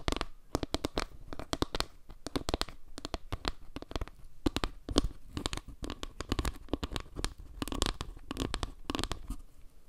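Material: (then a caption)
Wood. Long nails tap and scratch the face of a solid, round board of wooden log slices with a dark tiled center. Quick, dry clicks and scraping rustles come in a busy, uneven stream for the whole clip, each tap crisp and short with no ring.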